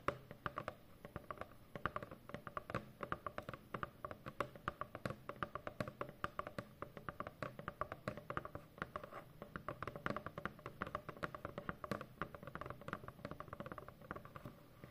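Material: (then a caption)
Cardboard. Long fingernails scratch and tap on a large, hollow corrugated cardboard shipping box. The result is a steady stream of dozens of quick, dry clicks and taps with scratchy texture in between. The sound is centered around 1.2 kHz with very little ring after each hit.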